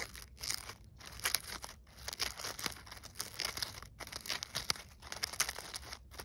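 Fingertips and long nails rub, scratch and crinkle the burlap-fabric petals and stiff glitter-coated leaves of a gold glittered artificial poinsettia flower ornament resting on snow. The sound is bright, dry crinkling and scratching in irregular bursts with brief quiet gaps, mostly high in tone with very little low end.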